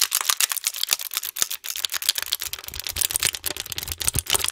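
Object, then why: Thin plastic cookie tray. An empty, long thin brown plastic insert tray from a Thin Mints cookie box, hollow with ridged compartments, is held in both hands just above a foam microphone and tapped and pressed with fingertips and nails. It makes a rapid, steady stream of bright, dry crinkles and sharp clicks that die away almost instantly, with very little low end.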